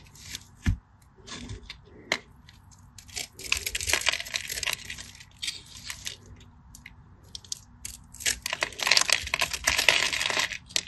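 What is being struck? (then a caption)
Bar of soap. A craft knife cuts into a solid cream bar of soap held between the fingers, breaking off crumbly cubes. Dry, bright scratching and crumbling crackles come in bursts, with a few sharp isolated snaps early on and denser scraping stretches in the middle and near the end.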